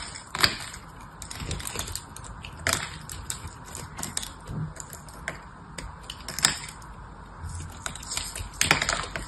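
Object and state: Dried soap bar being cut.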